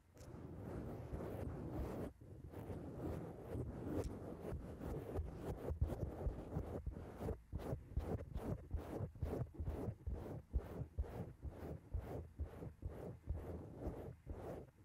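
Long acrylic nails on both hands scratch and rub a soft, porous black foam windscreen covering a microphone. The result is a dense, muffled, low rumbling rasp. It starts as a continuous rub and then breaks into quick, rhythmic strokes with short dips between them.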